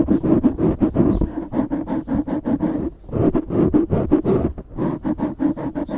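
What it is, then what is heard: Foam microphone windscreen being scratched. Fingertips scratch the sides of a black foam windscreen on a microphone, making a rapid series of dense, muffled rustling scrapes with a low, boomy body. The strokes come in quick, uneven bursts with brief pauses, each dying away almost at once.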